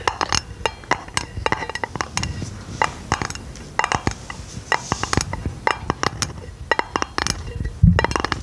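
A flat, round, hollow silver aluminum lid held over the microphone is tapped and scratched with long nails. It makes a rapid, irregular series of short, bright clicks and light metallic ticks that die away almost instantly, over a soft scratchy texture. A duller low thump comes near the end.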